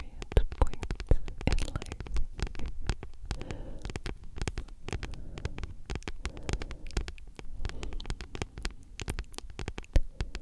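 A solid, thick paperback book with a glossy card cover is tapped and scratched with long nails. Quick, dense taps come in irregular bursts, each a short, dull click with a low thump and a faint bright tick. Soft scratching fills the gaps between them.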